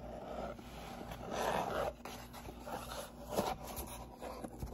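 Fingernails scratch along the top edge of a hollow, medium brown corrugated cardboard box with a white label, making dry, papery scraping. The box is then tilted up in the hands, and the scratching swells into louder rasps with soft, hollow knocks over a low, steady background.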